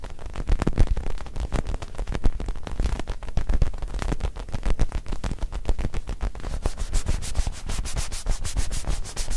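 A small black-and-white mini soccer ball, possibly foam or synthetic leather, is held up close and rubbed and scratched with the fingertips. The result is a dense run of quick, short scratching strokes with a heavy low thump under each, turning brighter and crisper toward the end.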